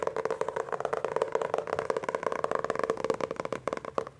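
Fingertips grip and rapidly tap the front cover of a solid Hardy Boys hardcover book with a glossy laminated paperboard cover. The result is a fast, steady patter of short, dry clicks with a hollow midrange tone and almost no ring.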